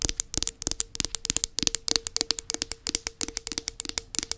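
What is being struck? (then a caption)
Round plastic tub. Long nails scratch and tap the underside of the black plastic base of a round body butter tub. The result is a rapid, uneven stream of dry, bright clicks and scratchy ticks that stop almost instantly, over a faint steady low hum.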